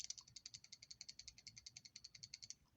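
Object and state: Loose socket on ratchet anvil.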